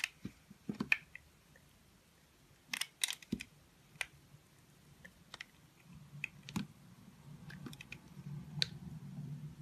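A metal utility-knife blade scrapes and cuts small chips from a hand-sized, solid oval confetti soap bar with pink, blue and green flecks, held in the palm, until the bar is carved. Short, crisp, bright clicks and scrapes come in scattered bursts with quiet gaps between them. In the second half, a soft, steady shaving rustle builds underneath and grows louder toward the end.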